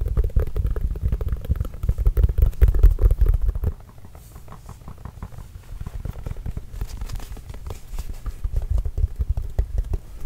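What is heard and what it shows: Fingertips tap rapidly on a hollow, inflated Spalding Trail Blazers autographed leather basketball close to the mic, making dense, deep, muffled thumps with almost no ring. The tapping is loudest for the first few seconds, then drops to a softer, steady patter that builds slightly again toward the end.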